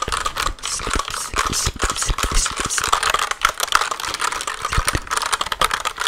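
A compact black plastic mechanical computer keyboard, held upright in front of the microphone, has its keys tapped quickly with long nails and fingertips. The result is a fast, dense stream of sharp, dry clicks and light rattling scratches with a bright edge and a steady tone near 1.3 kHz, each tap dying away almost instantly.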